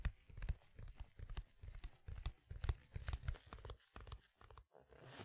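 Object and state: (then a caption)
Cardboard record sleeve, handled. A large, thin, flat square cardboard vinyl album sleeve, printed in pink, is held upright in front of the microphone while black-gloved fingertips scratch and rub its surface. The result is a quick, uneven run of short, dry scratching and crinkling bursts with a heavy, muffled low-end thump, ending in a soft, bright hiss.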